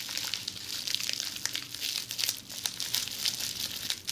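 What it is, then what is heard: Plastic bubble wrap. Red plastic bubble wrap laid over a bundle is scratched and tapped with long metallic-red nails while the fingers press and crinkle the bubbles. A steady run of bright, dry crinkles and sharp little ticks fills the clip, almost all high-pitched with no low body and no ring after each touch.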